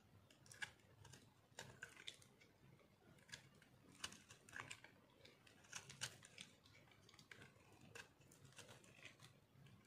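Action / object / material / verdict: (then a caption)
scrape / soap bar scraped by a metal knife blade / soap / none. A metal knife blade cuts and scrapes shavings off a solid white chunk of dry soap held in one hand. It makes a quiet series of dry, crisp scratches and sharp crunchy clicks with a bright, high edge. Each one stops almost instantly, with no ring.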